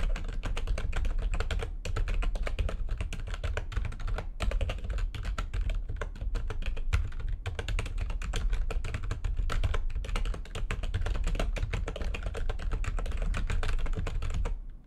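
Fast, dense typing with the long nails of both hands on a full-size plastic backlit computer keyboard produces a steady stream of quick clicking keystrokes over a low thudding body. The rapid clatter pauses briefly a few times before tapering off at the end.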